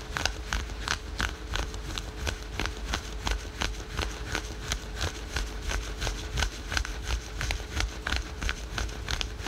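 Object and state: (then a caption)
Synthetic stretch fabric being scratched. Fingernails rapidly scratch patterned spandex/polyester synthetic stretch-fabric yoga pants worn over the knee, producing a steady train of short, dry, bright scratching strokes. The strokes come about three per second over a low, rumbling background with a faint steady hum.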